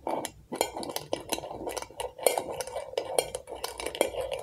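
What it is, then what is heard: Glass jar candle. Long acrylic nails tap quickly on the glass sides and label of a medium glass jar candle filled with orange wax. The result is a steady run of light, bright clinks and clicks with a faint ring near 500 Hz that dies away almost at once.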